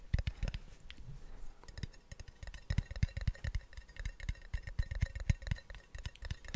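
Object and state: Plastic snus can tapped.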